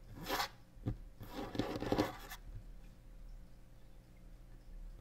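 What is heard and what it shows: Long nails scratch and tap on the surface of a large, solid varnished wooden tabletop: a short bright scrape, a single sharp tap, then a longer burst of dry, raspy scratching. The sound then falls away to near silence over a faint, steady low hum.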